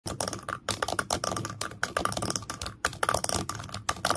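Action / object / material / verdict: tap / small wooden stand / wood / none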